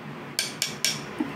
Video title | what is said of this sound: Don't buy THAI Recasts! Ft. Seraph Phoenix & ImHisEternalAngel | sounds like a rock yeah it literally sounds like ceramic